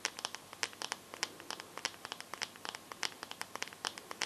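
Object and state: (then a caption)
Smartphone glass screen tapped with nails. Long nails tap and scratch the glass front and edges of a bare, solid teal smartphone. About thirty quick, bright, dry clicks come in an uneven rhythm, with faint scratchy friction between them, and each tap dies away almost instantly.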